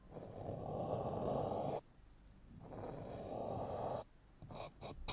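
Fingertips and short nails tap and scratch the black rubber/silicone ear pieces of a 3Dio binaural microphone with a metal body. Two long, dense bursts of close scratching rustle are heard, centered in the low-mids, separated by a brief pause. They end in a few softer, brighter taps, and a faint high tone pulses in the background throughout.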